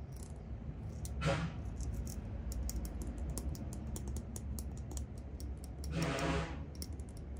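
Fingertips and nails strum and flick the teeth of a large, flat, wide-tooth comb made of clear acrylic or plastic with silver glitter, solid and thin, held in front of the microphone. Quick, crisp, bright clicks tick along steadily over a low, constant hum. Two longer, louder raspy sweeps come near the start and again toward the end.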